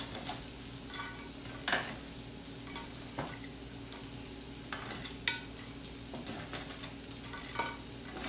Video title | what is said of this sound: How to cook a rack of lamb How to make chuffed potatoes. FB LIVESTREAM with live Q&A | you can hear how crispy they are